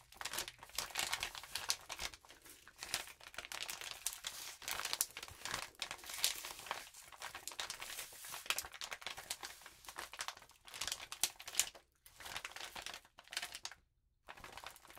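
A rainbow glitter-coated paper sheet is rubbed and scratched with both hands and long nails. The result is a continuous bright, crisp crinkling and scratching with quick rustling bursts and almost no low end, broken by brief near-silent pauses.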